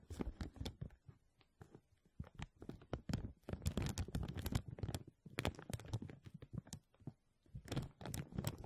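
Thin clear plastic film is stretched over the wire mesh dome of a microphone while fingertips and nails scratch and rub it. The result is close, dense crinkling and crackling in many quick, dry bursts with a heavy low-end thump. The texture swells and pauses unevenly through the clip.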